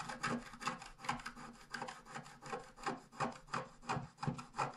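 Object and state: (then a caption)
Scratch art paper being scratched. A wooden stylus scratches the bottom grass area of a thin scratch art paper sheet lying flat. It makes quick, repeated dry rasping strokes, about three per second, each a soft, bright scrape that fades quickly, at a fairly quiet level throughout.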